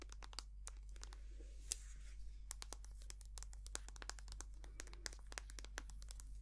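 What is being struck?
Soft plastic squeeze tube of cream.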